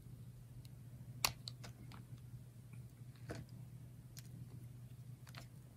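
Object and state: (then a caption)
Dry soap bar being sliced. A utility knife blade slices thin, fanning layers off a solid bar of red and yellow dry soap held in the hand. Quiet, crisp clicks and short bright scrapes sound over a steady low hum, with one sharper snap standing out.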